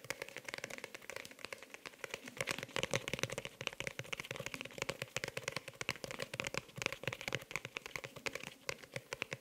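A pink faux-leather hardcover notebook is held upright close to the microphone while long nails and fingertips tap and scratch fast on its cover. The result is a dense, steady stream of sharp, bright clicks and scratchy rustles with almost no low end and no ring.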